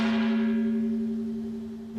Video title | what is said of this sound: La fabrication des boites aux lettre pour durer des centaine d'annnées incassable | si on donne un grand coup c'est bien plus résistant aux chocs et aux différentes attaques